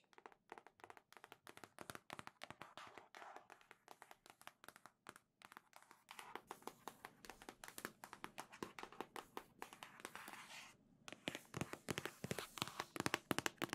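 A large printed cardboard Nintendo Switch OLED Legend of Zelda edition retail box, hollow with its contents inside, is held upright and tapped with long nails. The taps are rapid, irregular and dry, with crisp clicky tops and no ring, and they grow louder toward the end.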